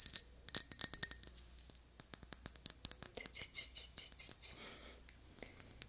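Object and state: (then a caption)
Glass tumbler. A small, clear, patterned glass tumbler, hollow and empty, is held in one hand and tapped with long dark-painted nails. The result is a rapid, irregular run of bright, high glassy clinks with very short ring, followed by a softer, hissy scraping passage and a few final taps.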